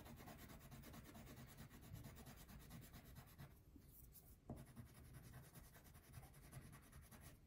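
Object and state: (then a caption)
Crayon coloring on a paper sheet. A pink wax crayon is rubbed across a thin paper coloring sheet resting on a table, making quiet, continuous rasping strokes with most of the sound low and muffled. The scratchy rubbing thins out briefly around the middle, then resumes at the same steady pace.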